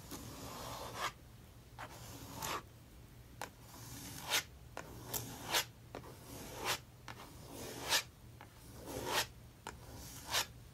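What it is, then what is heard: Palette knife scraping paint on a paper page. A handheld metal palette knife is dragged and scraped across the right-hand page of an open paper sketchbook lying flat on a wooden table, spreading thick dark acrylic paint over a drawing. Repeated bright, papery scratching strokes rise and end in sharp rasping flicks, with a quiet hum underneath between passes.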